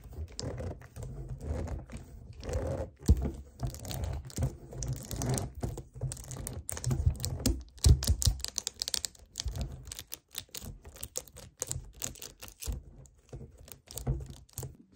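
Fingernails tap and grip the sides of an upright, hollow 1 L white plastic kefir jug, making quick, irregular hollow taps with a low, dull body. The taps are mixed with scratchy, crinkling sounds of the plastic being grasped, and each tap dies away almost immediately.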